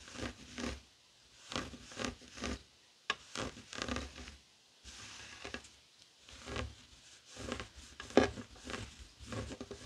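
Fingertips and short nails scratch a flat, heart-shaped woven tapestry fabric coaster lying on a wooden table. Quiet bursts of dry, rasping scratching come and go with brief pauses between them, their bright texture spreading broadly from low to high frequencies.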